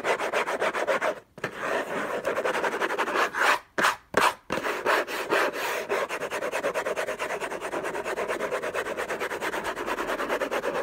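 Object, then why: Paper-covered cardboard box. Fingertips and short nails scratch the lid of a closed, long, rectangular orange Hermès cardboard box covered in textured paper, lying on a fluffy blanket. The sound is a rapid, continuous, dry rasping scratch concentrated in the mids, broken by a few brief pauses near the start and middle before steady scratching resumes.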